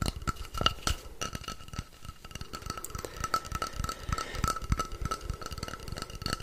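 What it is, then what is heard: Wooden rainstick. A long hollow wooden rainstick, painted orange with dot-art designs, is held upright in both hands while fingertips tap and scratch along its surface. Dense, rapid clicks and scrapes are heard, and the filling inside rattles, with a faint steady ringing tone above.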